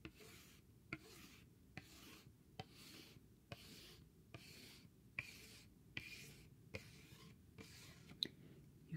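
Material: Cardboard.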